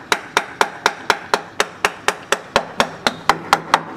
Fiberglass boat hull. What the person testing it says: But what I don't want to hear is a dull thud. You hear how that rings back?